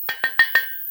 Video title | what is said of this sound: COMMENT REMPLACER UNE VESSIE DE VASE D'EXPANSION ? (# Climatisation-7) | et donc là vous avez un vase d'expansion qui est bien gonflé ça sonne le creux